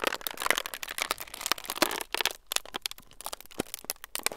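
A thin, clear plastic film sheet is crumpled with both hands close to the microphones. Dense, bright crackles and sharp crinkles come in quick bursts, with brief quieter gaps between handfuls.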